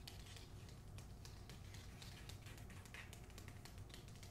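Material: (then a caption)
Paper. Long acrylic nails quickly tap and scratch the glossy paper dust jacket on the back cover of the closed hardcover book "The Hacienda." The result is a quiet, steady stream of soft, bright ticks and papery scratching over a low, constant rumble.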